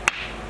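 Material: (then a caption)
Stone. A single sharp strike on an ordinary rock beside a musical stone produces a brief, dull click-like tap. It has no lasting metallic ring, only a quick decay into low background noise.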